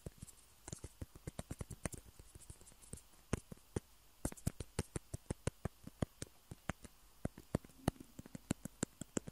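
Two small hollow white plastic table tennis balls, held in the fingertips of both hands, are tapped and scratched with the nails. Around 35 quick, dry clicks with bright tops sound at an irregular pace, with no ring after each one. Faint scratching runs between the taps, and there is a short pause near the middle.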